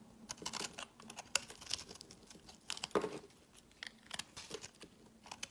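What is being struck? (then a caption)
Bar of soap shaved with a metal blade. A hand-held solid bar of pinkish speckled soap is shaved with a metal utility blade, and the shavings pile up on a woven mat. The result is a quiet run of crisp, bright scraping and cutting strokes, each short and dry with no ring, separated by brief pauses.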